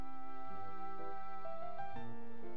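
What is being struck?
Nothing is struck.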